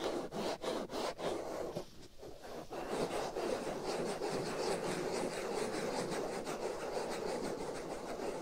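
Fingernails scratch and rub the black foam windscreen over the right ear of a binaural microphone, giving a dense, rough scraping noise centered in the low mids with a bright hiss above. It opens with a few quick separate strokes, dips briefly, then settles into continuous steady rubbing for the rest of the clip.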